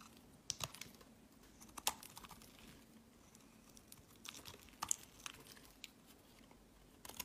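A solid rectangular bar of pink soap held in the hand is shaved and scraped with a metal box-cutter blade, its curls falling onto a woven mat. Quiet, irregular crisp scrapes and sharp little snaps come through with a bright, high edge over a faint low hum.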